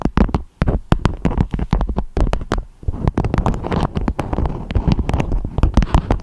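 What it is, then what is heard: Beeswax food wrap. Long acrylic nails tap and scratch a beeswax-coated fabric food wrap with a strawberry print, shaped into a dome. The result is a rapid, uneven run of dry, short taps with crinkly, papery scratching between them, weighted toward a dull low thump with almost no ring.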